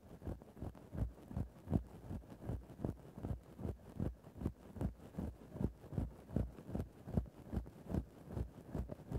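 A thin bamboo ear-pick stick scratches a grey synthetic-fur microphone windscreen in a steady back-and-forth rhythm. Each of about 21 soft, muffled rasps is deep and rumbling, with almost no bright high end.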